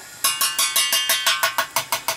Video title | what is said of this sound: Remove Air from your Boiler and Heating System - How To | the bottom of this has air in it that you just hear that change in pitch when I'm banging on it